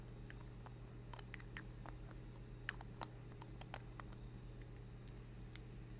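Long red acrylic nails tap a small, hollow, capped rose-gold metal lipstick tube held in both hands in front of a fluffy microphone. Light, sharp clicks and ticks come in an irregular patter and die away almost instantly over a steady low hum.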